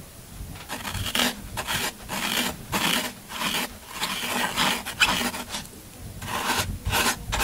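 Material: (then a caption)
Floral foam. A pointed tool scrapes the side of a solid green floral foam half block held in the hand, with crumbs falling onto the table. A series of dry, crunchy rasping strokes comes in bursts, bright and airy with little low end.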